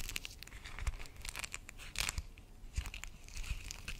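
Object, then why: Soft plastic zip pouch. An empty, hollow, transparent soft plastic zip pouch with a "carré blanc" print and black dots is held in both hands and crinkled and squeezed around the microphone. Dense, bright crinkling and crackling comes in quick bursts, with dull low thumps from the handling.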